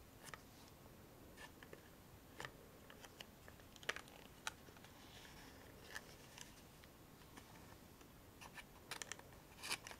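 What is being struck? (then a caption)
Small printed cardboard box. A small, empty-looking printed cardboard Rescue Remedy medicine box, hollow and held in both hands, is tapped and scratched with long fingernails and fingertips. Quiet, crisp, dry clicks and light scratches come at irregular intervals over a soft steady hiss, with bright, papery edges that stop almost instantly. A faster cluster of taps comes near the end.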